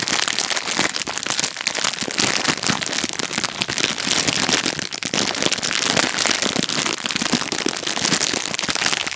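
A full, small red-and-yellow rectangular instant noodle packet in crinkly plastic film is held close to the mic and squeezed and tapped with long painted nails and fingertips. A dense, continuous bright crinkling is heard, with rapid crackly taps and little low end. The crinkle-tap texture stays steady throughout.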